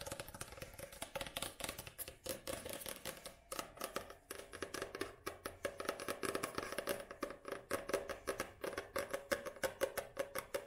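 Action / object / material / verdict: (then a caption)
tap / paperback book with card cover / card / none. Long nails tap rapidly on the glossy card cover of a paperback book, which is held first tilted and then upright. The result is a dense, steady stream of short, dry clicks with a light hollow tone around 570 Hz and a crisp, bright edge. Each tap dies away almost instantly.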